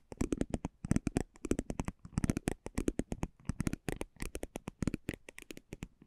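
A spiked metal pinwheel roller is rolled and scratched across the face of a thin, flat cardboard basketball trading card held in one hand. It makes a rapid, uneven series of short, dry ticking and scratching bursts with a dull, low body and faint bright edges. Each tick dies away almost instantly.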